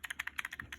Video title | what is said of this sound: How to replace the analog sticks in a Nintendo GameCube wavebird controller. | we can hear that the analog stick is moving around